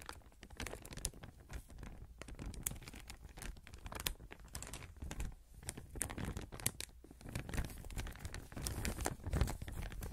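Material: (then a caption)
Plastic. A thin clear plastic sheet or bag, held in both hands close to the mic, is crumpled and rustled by the fingers. Dense, continuous crinkling and crackling comes with quick bright snaps and a heavy low rumble underneath, swelling and easing in waves throughout.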